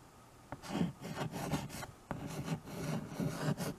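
White chalk held in the fingers scratches writing strokes across the surface of a small handheld chalkboard with a wooden frame. Sharp taps as the chalk meets the board start bursts of dry, rasping strokes with a low woody body and a bright hiss on top, separated by brief quiet gaps.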